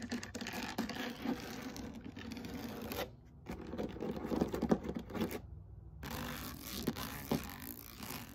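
Long nails scratch and rub the knobs of a black textured foam roller held upright. The result is a dense, crackly scratching with a low-mid body and a faint bright hiss, broken by two brief near-silent pauses before the rubbing resumes.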